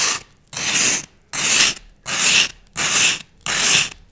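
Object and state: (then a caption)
Floral foam block being scored. A thin wooden skewer scratches and scores a dense grid into a solid block of green floral foam held in one hand. Fast, repeated strokes make dry, bright, hissy scraping bursts, five full strokes bracketed by partial ones at the start and end. Each stroke is separated by a brief near-silent gap.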